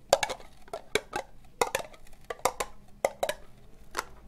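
Long nails tap slowly on an empty, hollow, orange ribbed plastic cup, making 13 quick, dry, hollow clicks with a bright edge. Each tap has a mid-pitched body near 560 Hz and dies away almost instantly, with short gaps of quiet between the irregular taps.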